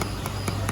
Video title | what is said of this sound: Review : รีวิว AK-12 Airsoft Gun ปืนรัสเซียจากค่าย Arcturus | ถ้าเป็นพลาสติก เสียงอีกแบบนึงเสียงจะเบาๆหน่อย